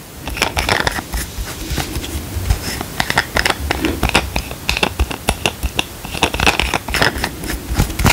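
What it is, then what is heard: Plastic cream tube. Fingernails tap quickly on a small, hollow, squeezable plastic cream tube with a cap, held upright in one hand. The result is a fast, irregular run of crisp, dry clicks with a bright, scratchy edge and almost no ring after each tap.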